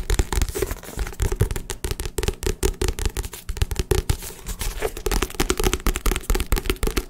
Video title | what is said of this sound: ASMR Tapping (Fast) (Aggressive) | started tapping on it and I thought I made some pretty good sound